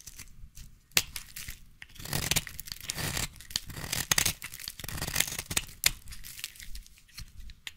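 A utility knife blade scrapes along the surface of a solid yellow bar of soap held in one hand. Dry, bright scraping and rasping strokes alternate with short, sharp clicks and brief pauses. The sound stays crisp and close, with a faint low rumble underneath.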